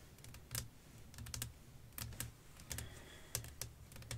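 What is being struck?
Flat glass pane.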